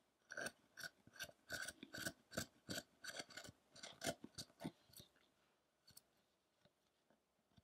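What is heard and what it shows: A small steel chisel makes short scraping cuts into a solid pale-wood Buddha carving on a rough block while the other hand steadies the piece. About twenty quick, dry, bright scrapes come in a steady run for the first five seconds, then thin out to a few faint strokes near the end.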